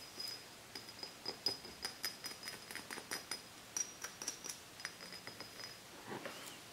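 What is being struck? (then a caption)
Small glass bottle with metal cap. Fingertips and nails tap, scratch and rub around a small, empty-looking glass cider (soda) bottle with a metal cap, held in both hands. The result is a quiet string of quick, bright clicks and taps with a faint high glassy ring that dies away almost at once. A softer scraping rub closes the clip.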